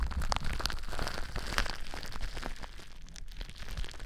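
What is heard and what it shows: Clear plastic bubble wrap wrapped around a microphone is scratched and pressed by fingertips and long nails. A dense, irregular crackling and crinkling with quick bright snaps rides over a heavy low rumble from handling the mic.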